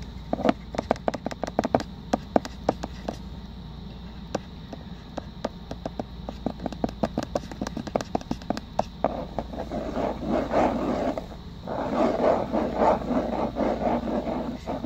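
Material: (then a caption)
Plastic. Short fingernails and fingertips quickly tap and scratch the closed lid of a small round black plastic e.l.f. cosmetic compact held against a white surface close up. For the first nine seconds, sharp, dry plastic clicks come in a fast, uneven stream over a faint steady low hum. The sound then shifts to denser, rougher scratching bursts that grow fuller toward the end.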